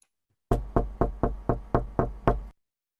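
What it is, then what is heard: Knock on wood. Eight quick knocks on a wooden surface in a steady run, each a dull, low thud with a short decay. The knocks stop cleanly after about two seconds, leaving silence.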